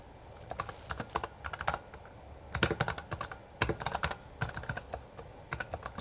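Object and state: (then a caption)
Plastic mechanical keyboard. Both hands type continuously with their fingertips on a full-size black plastic Bloody B820R mechanical gaming keyboard with backlit keycaps and a hollow housing, pressing and striking the keys. Quick, sharp clacks come in uneven bursts with short pauses between. Each keystroke has a bright clicky top, a body around 1.4 kHz and a hollow low thud, and dies away almost at once.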